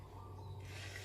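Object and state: Nothing is struck.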